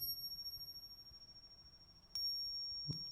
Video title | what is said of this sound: Антиквариат: оригинал vs подделка. В чём разница и как не быть обманутым | bei dieser geprägten Münze, also geprägtem Silber, wie der Rubel von Katharina, klingt er